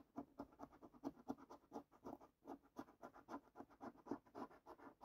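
A coin scrapes the latex panels of a £20 10x £250,000 GOLD National Lottery paper scratch card, the top card of a small stack on a wooden table. About 28 quick, dry scratches repeat in a steady rhythm, soft and mid-toned with little low end. Each stroke stops abruptly with no ring.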